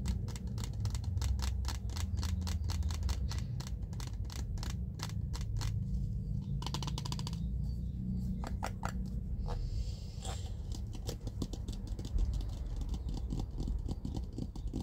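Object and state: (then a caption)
Plastic jar of cotton pads. Fingertips tap and scratch on the screw lid and sides of a small clear plastic jar with a pink label, full of white cotton pads. Quick, dry clicking taps follow one another steadily over a constant low rumble, with brief brighter scratching passages in between.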